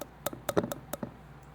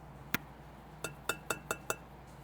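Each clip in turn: First: About seven quick, dull mid-pitched taps with almost no ring: an unfired, bone-dry clay piece sounding flat. Second: Six light taps with a clear ringing tone near 1.4 kHz: bisque-fired clay, harder and more resonant than raw clay.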